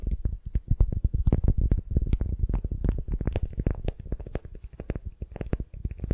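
Long nails scratch and tap a solid wooden sphere wrapped in beeswax-coated cotton wrap. The result is a rapid, uneven stream of short, dull, muffled taps and rustles, heavy in low tones with almost nothing bright.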